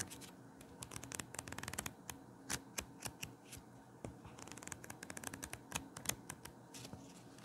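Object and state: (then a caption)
Paperback book pages riffled. A small paper paperback book with a solid stack of pages is held open in both hands while the fingers riffle and flip through its pages. Quick bursts of crisp, bright paper flutters and sharp snaps come in uneven runs over a soft hiss. Each flick stops dead with no ring.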